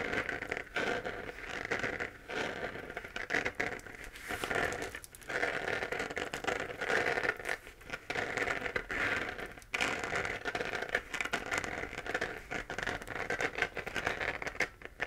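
A hollow, glowing 3D-printed plastic moon lamp, a sphere held in both hands, is tapped and scratched across its surface with long nails. The result is a dense, crackly scratching with quick taps, concentrated in the upper mids with some bright edge and almost no low end. It comes in steady bursts broken by brief quiet gaps.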